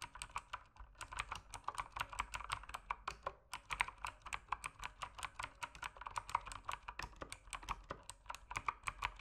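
Fingertips type steadily on a mechanical keyboard with plastic keycaps as its backlight dims. About fifty crisp, short clacks land in an even rhythm, with a brief pause near the three-second mark. Each keystroke has a bright top and a midrange body around 1 kHz, and dies away almost instantly.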